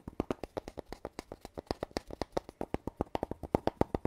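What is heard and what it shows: Fingertips and nails tap a hollow red cardboard tube lying horizontally, striking its metal-rimmed end cap and its body. About 33 quick, dry, hollow taps come in an uneven rhythm, each short and resonant with no ring-out.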